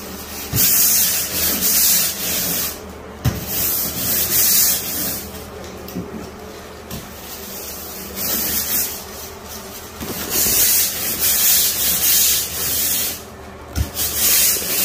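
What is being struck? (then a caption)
Ceramic floor tile grout scrubbed with a stiff plastic-bristle brush. A blue plastic-bristle grout brush on a long black pole scrubs back and forth along dirty, grease-filled grout lines between large beige ceramic floor tiles on a solid floor. The strokes make a bright, hissy scratching that swells and fades in bursts, with a few short, sharp knocks between them, as the grout lines come clean.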